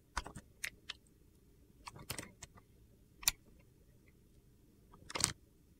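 A box-cutter blade shaves thin slices off a solid clear glycerin soap bar with colored soap cubes, held in one hand. The sound is a scattered, irregular series of short, crisp, high-pitched scraping clicks, with quiet pauses between them.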